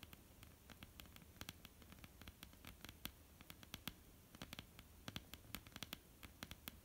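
Long polished nails of both hands tap and lightly scratch a flat, dark, solid wooden tabletop. Quick, sharp, bright clicks come in irregular clusters over a soft, steady scratchy hiss. Each tap dies away almost instantly.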